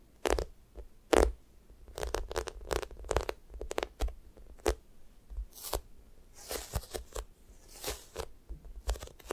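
Fingers press flat on a yellow sticky foam squishy toast made of solid soft foam, then peel off its sticky surface and scratch it with long nails. Short, irregular tacky crackles and peeling rips sound out, some sharp and bright, others softer with a hissy scratching texture.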